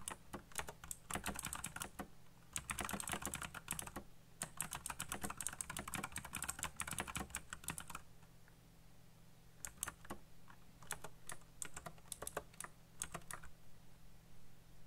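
Fingertips type fast on a backlit mechanical keyboard with black plastic keycaps, producing dense bursts of sharp, bright clacks over a steady low hum. After a brief lull near the middle, the typing resumes as sparser, separate key clicks.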